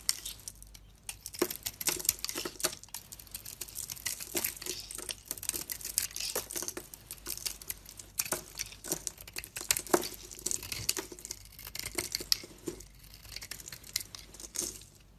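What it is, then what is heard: Bar soap carved with a blade. A utility knife blade carves flaky chunks off a solid, hand-sized bar of soap held in the hand, with a silver and blue coating over a lilac interior. Dense, bright, crisp crackling and scraping comes in quick irregular bursts, with sharper snaps as pieces break away. The sound is dry and close, with almost no low end.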